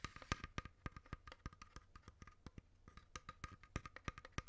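A long, hollow, dark wooden incense box with painted mandala decoration is held in the hand and tapped on its lid and side with fingertips and nails. The result is a quick, uneven series of short, dry, woody knocks, each with a soft low thump and a faint hollow tone that dies away almost at once.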